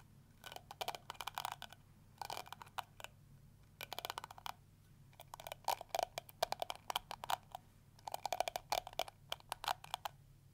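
Fingertips and nails scratch and strum the flexible plastic teeth of a round pink and yellow plastic detangling brush with a hollow shell. Bursts of rapid, dry plastic ticks and flicks come in clustered runs separated by short pauses, centered around 680 Hz with a bright crackle and almost no ring. A faint low hum sits steadily underneath.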